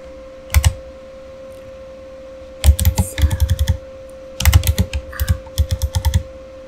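Fingertips of both hands type on a full-size backlit plastic Razer Fire gaming keyboard, likely membrane, resting on a desk. A quick double tap is followed by two longer runs of dull, thuddy keystrokes that stop short with no ring. A faint steady hum sits underneath throughout.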